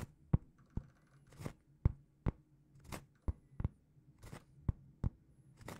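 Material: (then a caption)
Cork. Long painted fingernails scratch and tap a large, flat, solid round cork trivet held in both hands. Twelve short, dry strikes are heard, each with a soft low thump and a quick bright scratchy crackle that dies almost instantly, over a faint steady hum.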